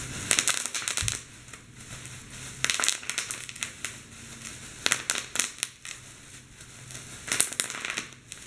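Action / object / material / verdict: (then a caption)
scrape / plastic bubble wrap / plastic / none. Fingers squeeze clear plastic bubble wrap laid over a keyboard, popping the bubbles. Sharp, bright crackling pops come in uneven clusters, with softer crinkling of the plastic in between.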